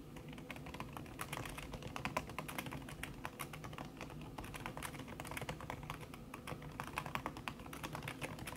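Fast fingertip typing with long red-painted nails on a thin backlit aluminium keyboard whose plastic keys sit under a red silicone skin. A dense, steady stream of soft, muted taps and clicks with short, dry decay and a bright edge, running continuously without pause.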